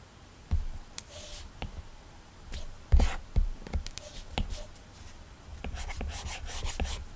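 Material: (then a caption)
Plastic film. A hard plastic stylus tip rubs steady shading strokes across a flat iPad's glass screen covered with a matte, textured Paperlike plastic protector. Quiet, uneven taps and short scratchy strokes give way to denser, brighter rubbing toward the end, over a low, dull background hum.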